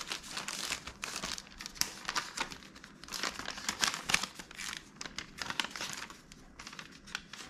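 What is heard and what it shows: A small, empty, hollow red-and-white striped paper popcorn bag is held and crumpled with the fingers. It makes a steady run of dry, crisp crinkling and crackling bursts. The sound is bright, high-pitched and papery, with almost no low end.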